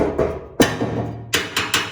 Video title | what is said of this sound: Just installed the Holley efi tank on this Ls swap 62 impala 5.3 4l60e holley exhaust manifolds | damn near hollow but sometimes they're not empty